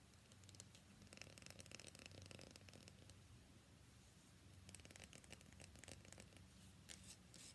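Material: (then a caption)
Soap. Long nails scratch and rub along the face of a solid cream-white rectangular bar of soap held in one hand. The result is a quiet, steady stream of dry, crackly scratching with bright, gritty bursts over a low, continuous hum.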